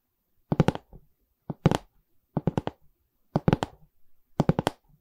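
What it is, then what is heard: Wooden canvas stretcher frame. Long red nails tap the wooden side bar of a medium, hollow pine stretcher frame with a canvas back. Sixteen short, dry, hollow knocks come in quick bursts of three or four, with a low body near 160 Hz and almost no ring.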